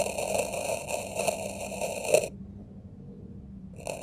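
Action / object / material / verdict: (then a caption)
scrape / kinetic sand in a plastic tray / sand / none. A dark metal knife tip scratches a grid of grooves across packed red kinetic sand in a small square plastic tray. It makes a steady, gritty, crunching scrape with a tonal edge around 620 Hz and bright upper overtones, rising to a sharper crunch just after two seconds. It then drops to near silence before the scraping briefly starts again at the end.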